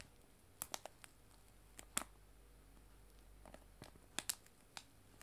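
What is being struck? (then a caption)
Cellophane bag of loose tea. A clear cellophane bag of dried loose tea lies flat on a table and is tapped and scratched with long nails. Short, sharp, bright crinkling clicks come in irregular clusters over a faint low hum. Each snap dies away almost instantly.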